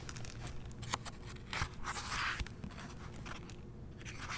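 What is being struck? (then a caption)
Paper pages of a hardcover book. Fingertips with painted nails open a hardcover novel and turn its paper pages, brushing across them. Soft papery swishes and crisp rustles rise and fade in quick bursts over a low, steady background rumble.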